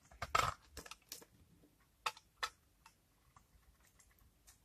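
A utility knife blade scrapes a hand-held, palm-sized oval bar of old, hardened, cream-coloured soap with a brown rancid rind, curling off dry, crumbly shavings. The result is a series of short, dry, crunchy scrapes with bright crackle that die away almost at once, separated by near-silence.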